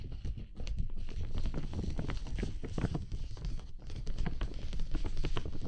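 Fingertips and nails tap and scratch the outside of a large transparent dome umbrella of thin, flexible PVC plastic with white ribs, its hollow canopy dotted with water droplets and held over a binaural microphone. A dense, continuous run of soft, dull, low taps and scratchy rustles fills the clip, with brief pauses between flurries.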